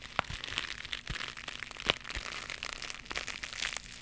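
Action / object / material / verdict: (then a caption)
scrape / knitted mesh scrubber pad / nylon mesh / none. A small, soft, flexible white knitted mesh scrubber pad is held in both hands near the mic and scratched and squeezed with long pink nails. It gives a dense, bright crinkling and crunching texture, broken by sharp, quick crackles that stop dead with no ring.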